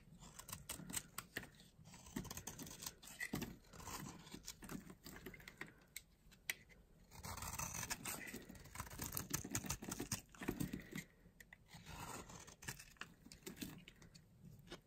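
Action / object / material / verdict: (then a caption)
scrape / bar of soap carved with a small blade / soap / none. A small blade carves a solid bar of dry yellow soap held in the palm, making quiet, dry, crunchy scraping and crisp cutting sounds. Short, rapid clicks and shavings come in bursts with brief pauses, with a bright, crumbly texture throughout.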